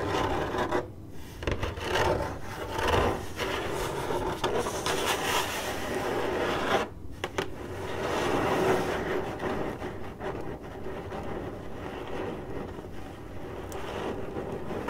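Long acrylic nails on both hands scratch across a hollow, printed corrugated cardboard box. A dense, continuous raspy scraping fills the clip, mostly in the low and middle range, with a few brief pauses before it resumes.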